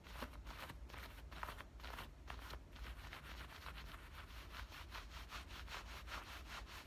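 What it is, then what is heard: Denim shorts pockets being scratched. Fingertips and nails rub and scratch inside and along both front pockets of black denim shorts. A steady run of quick, rhythmic scratching strokes sounds bright and papery over a low rumble, at a soft, even level.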